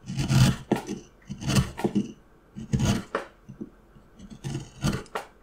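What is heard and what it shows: A steel carving knife makes repeated scraping cuts into a solid, light wooden carving block. The cuts come as bursts of low, rough scraping with bright edges on each stroke, and quiet pauses fall between the strokes.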